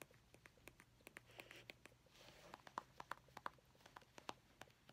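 A medium, hollow white-and-grey plastic cosmetic squeeze tube is held upright in both hands and tapped with long painted fingernails. The result is a quick, irregular run of short, dry clicks and taps with a hollow plastic tone around 1 kHz, each dying away almost instantly. Faint soft rustling sits between the taps.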